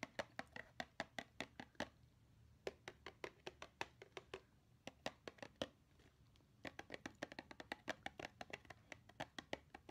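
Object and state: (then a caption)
Hollow cardboard gift box. A small, hollow blue cardboard gift box with a snowman print is tapped quickly on its sides with long nails. Quick bursts of sharp, dry clicks with almost no ring carry a bright, hollow edge. They come in rapid runs broken by short pauses near 2 and 6 seconds, over a quiet background.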